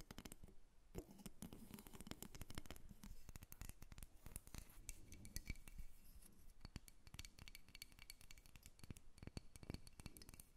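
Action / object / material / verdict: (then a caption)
tap / carved wooden figurine / wood / none. Long nails tap and scratch a solid carved wooden dolphin figurine, first as it sits on a table and then after it is lifted up. The sound is a quiet, rapid stream of dry clicking taps with very short ring, mixed with scratching textures throughout.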